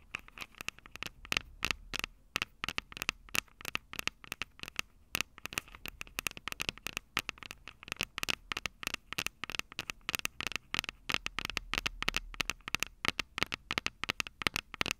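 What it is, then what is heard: Metal microphone capsules tapped and scratched. Long purple nails tap and scratch the metal microphone capsules of an upright Tascam DR-05 recorder. The result is a rapid, steady stream of sharp, dry clicks and scraping crackles, bright and thin with almost no low end, each hit dying away instantly with a slight metallic ring around 2 kHz.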